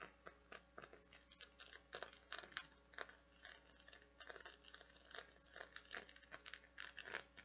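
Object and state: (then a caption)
Silicone bath scrubber scratched by nails. Long nails scratch across the small round nubs of a hand-sized, translucent blue, flower-shaped silicone or plastic bath scrubber that is solid and flexible. The result is a quiet, steady run of rapid, crisp crackling ticks with a bright, dry texture and almost no low end. Each tick dies away almost instantly.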